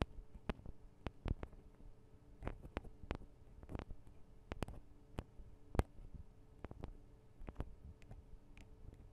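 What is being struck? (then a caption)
Metal and plastic microphone capsules. Long acrylic nail tips tap on the tops of a Tascam DR-40 recorder's two small, hollow microphone capsules with metal and plastic housings. The result is a quiet, irregular series of short, dry clicks with a hollow, low-heavy thump and very little ring, over a faint steady low hum.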